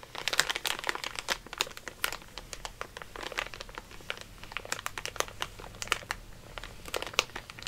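A soft makeup brush is rubbed and brushed over a full, flat, sealed plastic film bag of Mini Eggs candy lying on a placemat, with the other hand holding the bag. The result is a steady stream of bright, crisp crinkles and light crunches. They come as dozens of quick, short-lived rustles with little low end.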